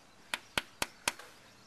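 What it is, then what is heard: Impact-rated laminated glass window. A knife taps four times on an impact-rated laminated glass window pane that carries a Miami-Dade approval marking in its corner. Each tap is a short, bright click with very little ring. The sound is duller than on a non-impact window, which marks it as impact rated.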